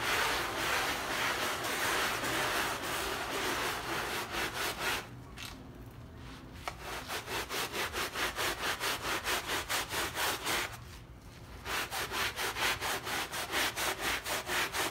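A hand scrubs a small, wet, foamy, paint-filled fabric rug resting on a mat with a blue plastic bristle brush, working in circles and strokes. Steady, rhythmic, bright rasping brush strokes repeat at roughly two per second, easing into quieter, softer scrubbing twice before the strokes pick up again.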